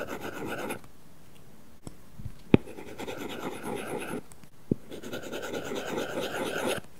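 A plastic stylus tip rubs and scratches across a matte paper-like film on an iPad's glass screen while coloring. Soft, papery rasping strokes come in bursts separated by brief quiet gaps, with two sharp taps standing out near the middle.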